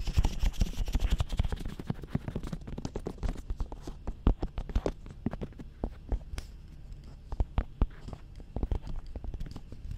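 Fingertips and nails tap and scratch on the sides of a glossy black hard plastic dummy head microphone, near the ears. A dense, rapid flurry of deep, muffled thumps with bright scratchy rustle fills the first couple of seconds, then thins into sparser, sharper taps with quiet gaps between them.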